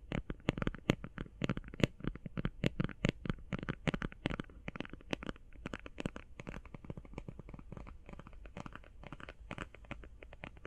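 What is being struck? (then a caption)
Cardboard eyeshadow palette. Fingernails tap rapidly on the edges and face of a flat, rectangular, hand-sized cardboard eyeshadow palette. The result is a fast, dense stream of short, dry clicks and taps over a low steady hum. The taps are sharper and louder in the first half, then become softer and more muffled.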